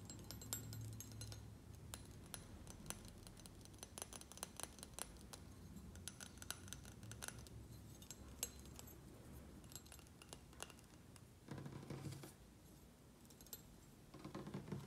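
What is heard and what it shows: A small solid stainless steel serving spoon, held in one hand, has its bowl and handle tapped and scratched with fingernails. Many quiet, sharp, bright metallic clicks and ticks sound over a low, steady rumble, with brief scratchy stretches between the taps.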